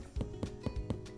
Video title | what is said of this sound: BAKING WITH KIDS - VIBRANT VEGGIE BAKES - BEETROOT BREAD | It sounds hollow, so that means that it's done.